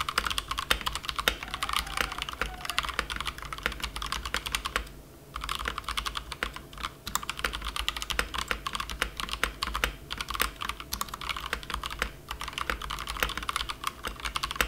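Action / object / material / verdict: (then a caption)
tap / plastic compact mechanical keyboard / plastic / none. A plastic compact mechanical keyboard resting on a felt mat is typed on continuously with fingertips of both hands. It gives a dense, steady stream of short, bright clicks and clacks over a low hum, with a brief pause near the five-second mark.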